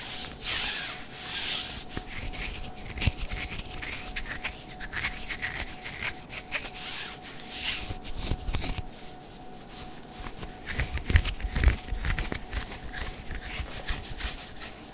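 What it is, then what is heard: Sheer synthetic mesh sleeve being scratched. Fingertips and nails rub and scratch along the forearm sleeves of a light blue, sheer synthetic mesh long-sleeve top being worn. The result is a steady, soft, scratchy rustle with brighter hiss-like swells and occasional sharper scrapes, ending in a few louder scratches near the end.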